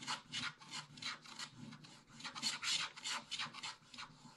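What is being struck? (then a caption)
Wax-coated paper scratch-art page scratched with a wooden stylus. A wooden stylus held in the fingers scratches the black wax coating off the thin paper page of a spiral-bound scratch-art book lying flat, uncovering a printed bear picture, with a brush resting unused beside it. About seventeen quick, uneven scratching strokes come through as bright, dry rasping with almost no low end and no ring.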